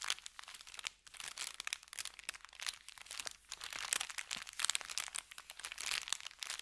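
An empty brown kraft paper bakery bag lies flattened on felt and is rubbed and scratched with the fingertips of both hands. The result is dense, continuous crinkling and scratchy crackling, bright and high with almost no low end. Quick surges and dips run throughout.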